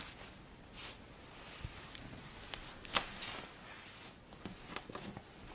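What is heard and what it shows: A flattened mound of pink kinetic sand is pinched, then scratched and pressed with long blue acrylic nails and fingertips. Soft, bright, grainy scratching and crunching is heard, broken by brief sharp ticks, with one louder crisp click near the middle. The sounds are quiet and stop instantly with no ring.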